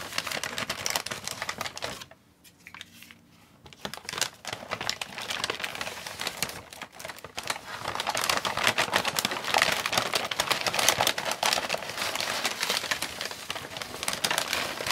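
Fingertips crinkle and press the side of a large, mostly empty brown kraft-paper takeout bag with a purple print, standing open on a plastic tray. A dense, bright crackling runs throughout, drops to near silence briefly around the two-second mark, then resumes and grows louder and busier in the second half.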